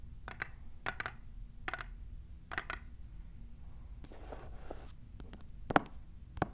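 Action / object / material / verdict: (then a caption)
tap / plastic tumbler cup / plastic / none. Long nails fitted with plastic clips tap near the base of a tall, clear, printed plastic tumbler. The hollow cup gives off short, dry clicks in quick pairs and singles that stop almost instantly. Midway there is a brief soft scratchy rubbing, then a few sharper taps over a faint low background.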